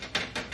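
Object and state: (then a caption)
Hollow, cheaply made shelf. Knuckles knock quickly on a cheap shelf, giving short, bright, hollow taps with little low end and a brief ring. The knock sounds hollow and cheap, not like real wood or metal, even though the shelf doesn't look the worst.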